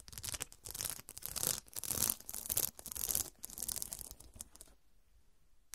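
Long dark nails scratch lengthwise across a fabric cushion covered in square faceted glass studs. The result is a series of bright, dry scraping and clicking bursts in an uneven rhythm, which then fade to near silence.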